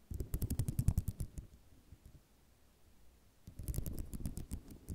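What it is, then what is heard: Ceramic mosaic tile sheet. A flat sheet of small white square ceramic mosaic tiles on cloth is tapped and scratched with long nails. It makes quick, dry, irregular clicks with bright ticks and low thumps. A burst of clicking fades to a near-silent pause around the middle, then the tapping resumes.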